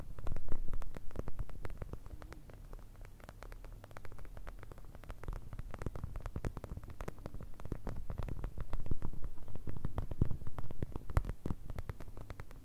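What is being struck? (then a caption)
Plastic eye mask filled with gel beads. Long nails tap and scratch a clear plastic eye mask filled with blue gel beads, making a fast, uneven stream of soft clicks and rustling scrapes. The sound sits low and dull over a steady low hum, with short taps that die away instantly. It swells near the start and again toward the end.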